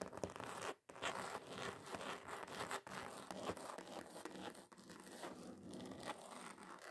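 Long acrylic nails rapidly scratch and tap across a flat, thin, solid red glitter-covered card sheet. The sound is a dense, continuous gritty rasp with quick tapping clicks and a bright crinkly texture, broken by one brief silence just before the one-second mark.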